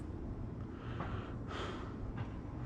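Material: Nothing is struck.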